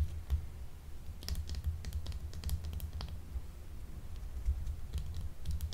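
A small, solid, translucent blue soap bar shaped like a gemstone, unwrapped and held in one hand, is tapped and scratched with long acrylic nails. Quick, dry, bright clicks and short scratchy strokes come in irregular bursts over a low, steady hum.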